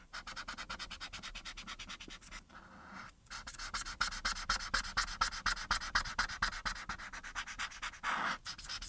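A felt-tip marker held in the fingers rubs back and forth across a thin printed paper sheet lying flat on a dark surface, colouring in the face. Quick, scratchy strokes repeat at about two per second, with a bright papery hiss and a short pause just before the three-second mark. The strokes then grow louder and denser toward the end.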